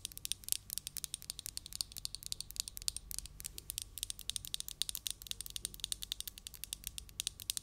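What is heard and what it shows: A small hollow glass candle jar filled with cream-colored wax, with a lid, is held in one hand and tapped rapidly with long acrylic nails. The quiet, steady stream of sharp, bright clicks dies away almost instantly, with very little low end.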